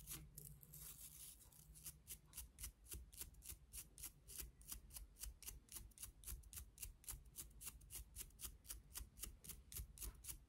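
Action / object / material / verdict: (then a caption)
scrape / plastic toothbrush / plastic / none. Long nails scratch the bristles and handle of a pink and clear plastic toothbrush with colored bristles. About 40 quick, bright, crisp scratches come in a steady rhythm of roughly four per second. A low hum runs underneath.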